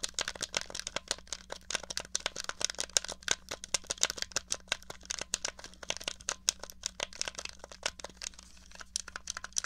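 A small, hollow grey plastic NES controller is tapped and scratched across its case and buttons by long nails. The result is a fast, dense stream of sharp, bright clicks and scratchy plastic rattles with almost no ring. A faint low hum sits underneath.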